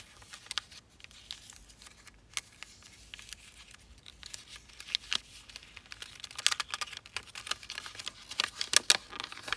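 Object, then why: Thin folded origami paper sheet. A thin, small folded sheet of zebra-pattern origami paper with layered folds is pinched, folded and rubbed by fingertips and nails running along its creases. The result is a dense run of soft, bright crinkles and sharp little clicks that grows busier and louder toward the end.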